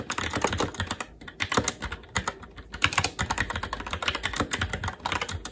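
Fingertips of both hands type continuously on a SteelSeries Apex 7 TKL mechanical keyboard with red linear switches, plastic keycaps and a metal top plate. A rapid, uneven stream of short, bright plastic clicks and clacks with brief pauses, each keystroke dying away almost instantly.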